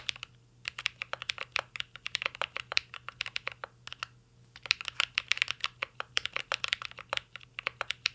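Both hands type rapidly with their fingertips on a full-size mint-green Cyberboard R3 mechanical keyboard with a metal case, LED panel and plastic keycaps, resting on a desk. A steady stream of sharp, bright, clacky key taps dies away almost instantly, with a brief lull near the middle before the typing picks back up.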